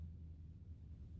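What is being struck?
Nothing is struck.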